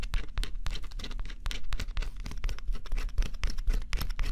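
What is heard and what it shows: A small stylus held in the fingertips scratches the black coating off a flat, thin cardboard scratch-off jigsaw puzzle. Quick, dry scratching strokes come in rapid, uneven bursts with a crisp, bright edge over a steady low rumble. The coating is steadily scraped away.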